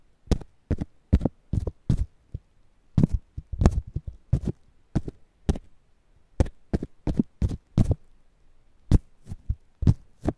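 A whole fresh corn ear in its green husk, held between foam mics, is scratched and tapped with fingertips. The result is a series of short, close, dull thumps and soft rustles, mostly deep and low, each with a brief bright crackle that dies away almost instantly.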